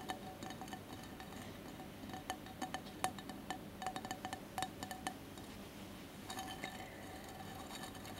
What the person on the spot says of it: ASMR tapping and scratching on glass candle holder